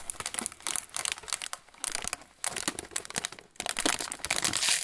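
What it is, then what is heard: Plastic snack bag being crinkled. A yellow Roland pretzel bag, made of metallized plastic film with a plastic tray and full of pretzel sticks, is held in both hands and bent and crinkled with the fingers. Dense, bright, crackly crinkling comes in bursts with brief quieter gaps, with almost no low end. The crinkling grows louder and more continuous toward the end.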